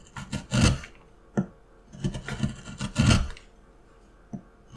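A small steel carving tool, held in one hand, gouges and scrapes a solid light wooden block with a paper pattern on it while the other hand steadies the block. Short dry rasping strokes come in uneven bursts, some quick and some drawn out, with a woody low thump under a bright scratchy edge. Brief quiet gaps fall between the strokes.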